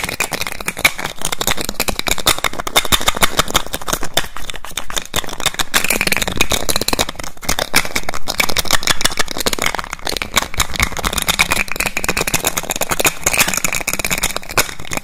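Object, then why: Glass perfume bottle with plastic cap. A small clear glass perfume bottle with a black cap is held in the hand while the fingers rapidly and repeatedly take the cap off, put it back and click it. The result is a dense, continuous stream of sharp, bright clicks and rattles with very short ring, running steadily throughout over a dull low undertone.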